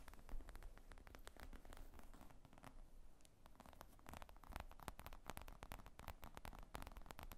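Long acrylic nails rapidly tap and scratch the top of a black faux leather laptop briefcase with zippers, lying flat on a wooden table. The padded, hollow bag gives quiet, dull, low thuds under crisp clicking nail taps and a soft, crackly scratching rustle.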